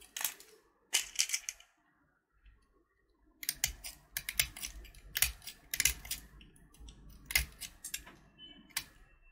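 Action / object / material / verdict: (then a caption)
scrape / candy-coated chocolate button / sugar shell / none. A small, solid purple candy-coated chocolate button (Gems), held between thumb and finger, is scraped with a utility knife blade until brown chocolate shows under the shell. Bright, dry scratching bursts come in quick clusters, with a short quiet gap near the start before the scraping resumes steadily.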